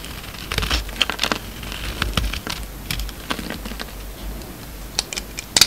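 A steel utility-knife blade shaves slices off a solid, hand-sized oval blue embossed soap bar with a green core, held in the palm. The clip is a run of short, crisp scraping and crackling cuts, bright and papery, over a faint low rumble. The sharpest snaps come near the end.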